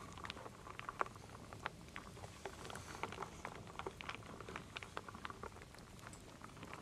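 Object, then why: Wooden beads and acorn pieces in a wooden bowl. A wooden spoon stirs small solid wooden beads and acorn pieces in a full wooden bowl, making a soft, steady patter of dry clicks and clatters. Sharper knocks stand out now and then over a quiet, continuous rustle.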